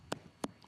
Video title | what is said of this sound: Debbie Meyer GreenBoxes Home Collection 22piece Set | That thick, hollow sound. That's the sound of a very, very fresh pepper.